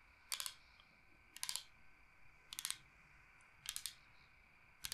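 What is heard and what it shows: Long painted nails tap and scratch the face of a large, flat, solid bamboo cutting board shaped like Michigan. Five quick clusters of bright, crisp clicking taps come at irregular intervals, with quiet pauses and a faint hiss between them.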